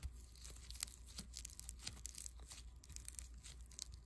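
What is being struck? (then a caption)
Foam bead clay. A small, soft but solid lump of white foam bead clay is kneaded and rubbed between fingertips. It gives quiet, dense, bright crackling and crinkling ticks, like fine tearing, over a steady low hum. The sound stays soft and close throughout.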